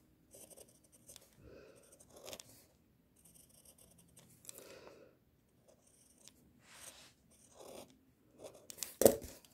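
A pink mechanical pencil tip sketches on a sheet of white drawing paper in small scratching strokes, heard close up. Eleven short, soft, dry strokes come in separate bursts with quiet gaps between them, ending in a sharper, louder scratch.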